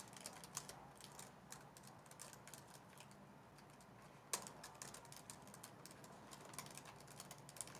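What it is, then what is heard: Plastic laptop keyboard. A white plastic laptop base with black keys, held against the shoulder, is typed on with long nails. The result is a steady stream of quick, light, bright clicks and taps with almost no ring, including one sharper, louder click partway through.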